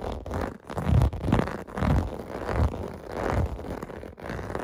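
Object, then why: Plastic bubble bath mat. Fingers scratch the surface of a clear blue plastic bath mat with bubble domes lying on carpet. The sound is a rough, crackling scrape in repeated strokes, mostly low and dull with little brightness, each stroke swelling and fading.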